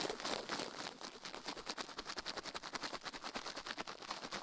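A toothbrush quickly scrubs a silicone ear microphone resting on a metal plate, while the other hand stays still. The result is a fast, uneven train of dry, bright scratching strokes with almost no low end.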